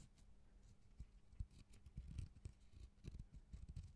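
A single fingernail scratches and taps the rough outer bark of a raw cork bark piece held upright beside the mic. It makes quiet, dull, low thuds that die away almost instantly, with faint bright scratchy crackle over a soft steady hum.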